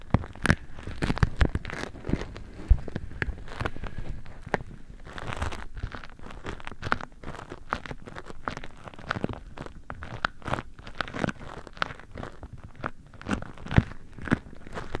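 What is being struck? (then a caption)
Beeswax-coated cotton fabric wrap. A patterned beeswax-coated cotton food wrap is molded over the microphone while both hands press and crinkle the stiff, waxy fabric. Dense, irregular crackles and crunchy snaps with sharp, short attacks run continuously, sounding close and heavy in the low end with occasional bright clicks.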